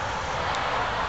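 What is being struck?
Nothing is struck.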